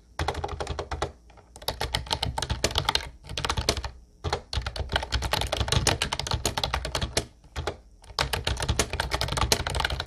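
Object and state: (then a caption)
Plastic typewriter-style keyboard being typed on. Fingertips type continuously on a mint-blue plastic Ubotie retro typewriter-style keyboard with round white keycaps. Rapid, dry plastic key clicks come in bursts separated by brief pauses, each tap bright on top with a soft low thump underneath.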